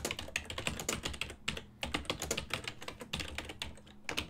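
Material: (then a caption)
Plastic. Fingertips type on a full-size black and silver plastic ergonomic desktop keyboard with hollow key switches. Quick bursts of bright, hollow plastic clicks with a faint low thud under each keystroke are broken by brief pauses. Each click dies away almost instantly.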